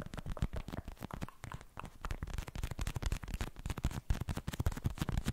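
Fingertips rapidly tap a hand-sized, filled pink plastic gel cushion pad with beads inside, held close to the microphone. The taps come as a dense, continuous patter of soft, dull, low-pitched thuds that die away almost at once, with little high-end sparkle.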